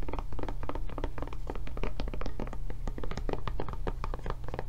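Long nails tap rapidly on the raised handle flap and body of a blue silicone rubber tablet case held sideways. The result is a dense run of soft, dull taps and thunks that die away quickly, over a steady low rumble.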